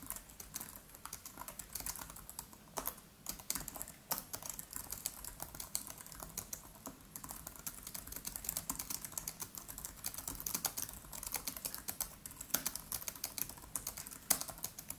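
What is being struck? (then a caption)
Laptop keyboard, plastic keys in metal body. Both hands type quickly with the fingertips on a MacBook Pro's built-in keyboard, its black plastic keys set in an aluminium body. The result is a steady, dense stream of light, bright, short clicks with very little low end and almost no ring after each tap.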